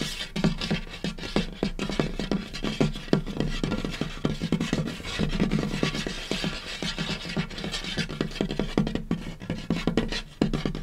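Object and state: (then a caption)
Wooden tabletop, tapped and scratched. Fingertips and short nails of both hands scurry and tap across a large, solid, light wooden butcher-block tabletop. A rapid, irregular stream of short, dry taps and scratchy scrapes comes through, with a woody knock around 200 Hz over a deep low hum and faint bright hiss. Each tap dies away almost at once.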